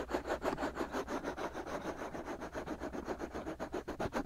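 Short fingernails vigorously scratch the white, hollow silicone ear molds of a binaural microphone. The result is a rapid, uneven series of dry, rasping strokes concentrated in the low-mid range, with soft brighter scratchy edges and little low-end weight.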